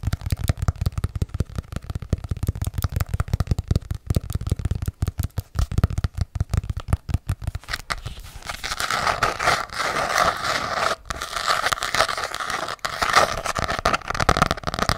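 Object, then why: Hardcover journal with embossed cover. Long acrylic nails tap rapidly on a small ornate hardcover journal with an embossed cover, making dense, dull, low knocks for the first half. The nails then switch to scratching across the cover, producing a steady, brighter rasping texture.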